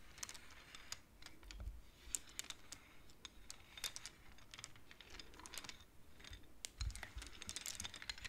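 Fingertips with long nails tap and push the wooden beads of a wooden abacus. The result is a quiet, irregular stream of short, dry, bright clicks that stop instantly with no ring, over a soft low background rumble.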